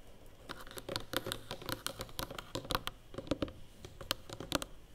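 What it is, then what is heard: Hollow cardboard box. Fingernails tap and scratch the edges of a large, closed, hollow black cardboard award box, then move onto its lid. The sound is a quick, irregular patter of dry, bright clicks and scratches with a slight hollow body beneath, each tap dying away almost instantly.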